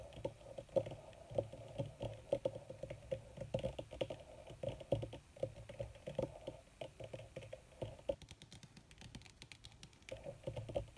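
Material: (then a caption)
Leather. Long red nails tap rapidly on a crumpled black leather sheet, possibly faux, producing a dense stream of short, dry clicks with a steady tone near 530 Hz and soft low thumps. The taps come in quick bursts with brief pauses, dipping quieter around the eight-to-ten-second mark before picking up again.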